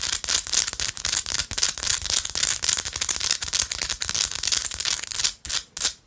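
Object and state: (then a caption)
Rock-salt chunk. A small solid pink rock-salt chunk is held close and scratched and tapped with long light-blue acrylic nails. The result is a dense, bright, crackly scratching with rapid, irregular short clicks and taps that don't ring on. Near the end, a few brief pauses break up the scraping.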